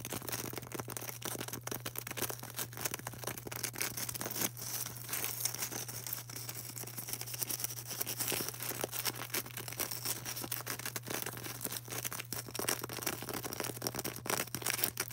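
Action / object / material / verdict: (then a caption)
tap / polystyrene foam ball / polystyrene foam / none. Long orange nails tap and scratch the surface of a solid, palm-size white polystyrene foam craft ball. The result is a dense, continuous run of dry, bright scratching and quick tapping, with a steady low hum underneath.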